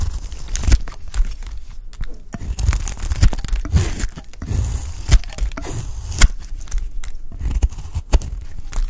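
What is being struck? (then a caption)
Bar of soap shaved with a knife blade. A dry peach-pink bar of soap with a streaked pink interior is scraped and shaved with a utility knife blade. Dry, crisp scraping and crunching fills the clip, broken by many sharp cracking snaps and low thuds as flakes break away.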